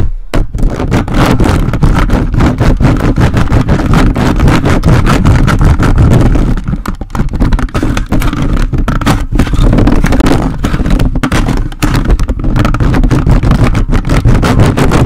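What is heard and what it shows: A hollow metal mesh microphone grille is repeatedly grabbed and scratched by the grey plastic fingers of a toy robot grabber hand. The result is a loud, continuous, boomy scraping and rumbling, heavy in the lows with little brightness, broken by rapid crackly bursts throughout.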